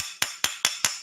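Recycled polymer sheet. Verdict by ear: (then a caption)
Hard. A sheet of hard recycled polymer, possibly made from milk jugs or HDPE and sold under a name containing "steel," is struck four times, giving sharp, bright clacks with very short ring that sound almost like ceramic. The material feels like metal and is said to dull end mills quickly, so it is not being machined.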